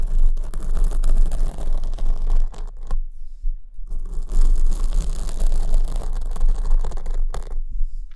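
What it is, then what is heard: Foam microphone windscreen being scratched. Long nails scratch the surface of a black foam windscreen on the right microphone, which is held at the top. The result is a dense, continuous scratchy rustle with a heavy low rumble underneath. Short near-silent pauses break it up just after the third second and near the end.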